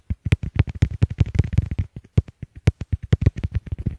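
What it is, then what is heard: Plastic earbuds tapped. Fingertips tap quickly on a pair of small white hollow plastic Apple EarPods, which are doing the recording as they rest on a wooden table, striking both at once in rapid bursts. The result is a dense run of short, muffled, bassy thumps with a faint crackle and almost no ring.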